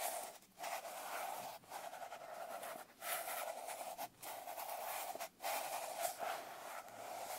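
Fingertips and long nails rub and scratch the cover of a smaller dark blue glitter-covered paper notebook resting on a lap. The result is a steady, gritty scratching with a strong midrange core and a bright hiss on top, broken by brief pauses between strokes.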